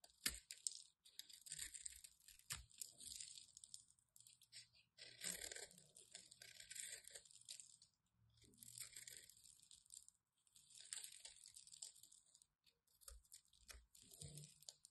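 A craft knife scrapes the surface of a solid white bar of soap, shaving off powdery crumbs. The result is a quiet, bright, crunchy rasp that comes in repeated bursts with short pauses between strokes.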